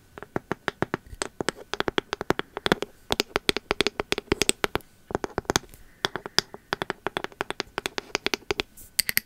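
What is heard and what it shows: Long metal nail caps tap and scratch the bamboo lid and labelled bottom of a pink ceramic candle jar. The result is a fast, uneven run of sharp, dry, bright clicks with almost no ring, broken by a brief pause midway.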